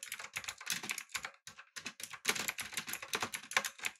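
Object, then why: Mechanical keyboard with plastic keycaps. Fingertips type on a backlit, typewriter-style mechanical keyboard with round plastic keycaps. The result is a rapid run of short, bright, clicky keystrokes with almost no low end and no ring, broken by a brief pause just before the middle.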